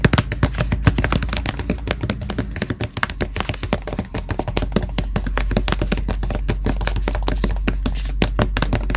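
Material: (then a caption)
Cardboard. Fingertips tap rapidly on the printed black cover of a Death Note hardcover notebook lying flat on a solid surface. The dense, short, dry taps sound muted and hollow, and a steady low hum runs underneath.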